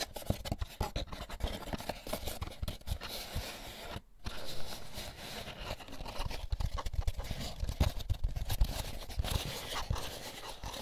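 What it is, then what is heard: Paper pulp egg carton, empty. Fingertips rub and scratch the bumpy egg cups on the underside of an empty, hollow white molded paper pulp egg carton. The result is a continuous, dense run of dry scraping and scratching with soft, low thudding underneath, broken by a brief pause around the four-second mark.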